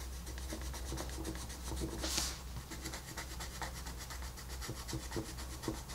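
A wooden colored pencil rubs and shades across a flat paper coloring book page, making steady, rhythmic scratchy strokes with a brighter swish partway through. A constant low hum runs underneath the whole time.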